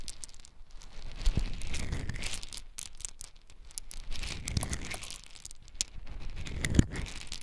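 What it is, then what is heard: Dried beans. Hands scoop handfuls of small, hard, dry brown beans from a large layer spread on a dark surface, letting them fall and rubbing them through the pile. A dense, crackling rattle of many small grains pours and rustles in repeated waves, with bright clicks over a low rumble.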